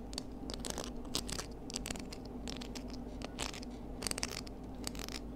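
Long nails scratch and pick at the bumpy surface of a small pinkish spiny, knobbly seashell held low near a table. Dense, dry scratching is broken by sharp, bright clicks and crackles, with a steady low hum underneath.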